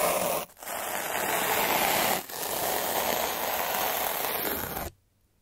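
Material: Metal, paper.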